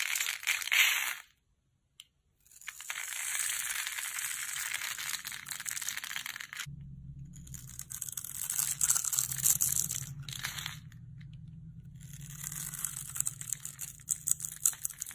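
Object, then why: Bar of soap scraped with a blade. A utility knife blade scrapes and carves dry flakes and strips off a solid green rectangular bar of dry soap held in the hand. The result is bright, crisp scratching and crackling with rapid, irregular scraping textures. A brief silence falls near the start, and a low hum enters partway through.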